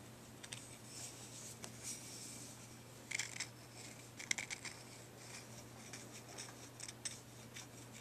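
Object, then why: Deer antler chew. A pale, solid, forked deer antler dog chew is held in the hands while fingernails scratch and rub along its surface. The result is quiet, bright, dry scratching with short bursts of sharp clicking scrapes near 3 and 4.3 seconds. A faint steady low hum runs underneath throughout.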